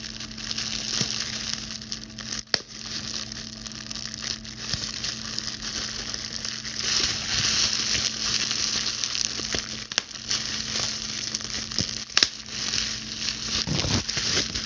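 A large clear plastic bubble wrap sheet is held up and crumpled while its bubbles are popped and scratched with long blue stiletto nails. A steady bright crinkling and scratching runs throughout, broken by a few sharp, short pops. A faint low hum sits underneath.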